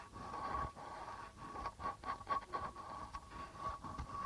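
A flat palm and fingers rub across the white plastic membrane of a hollow, hand-held darbuka drum. The result is a quiet, continuous scraping hiss over a steady mid-pitched ring near 1.1 kHz, with several brief, slightly louder swipes.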